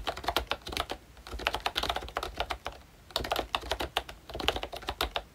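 Fingertips of both hands type on a full-size pink ROYCHE Disney Mickey Mouse retro keyboard, which has a plastic case, round dark green plastic keycaps and membrane switches. The result is a quick run of short, soft plastic taps with a bright click edge and almost no ring, with a brief pause midway before the typing resumes.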